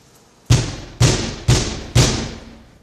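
A solid plexiglass wall of a police station holding cell, which has no bars, is banged on by hand. Four dull, low thumps ring briefly at evenly spaced intervals.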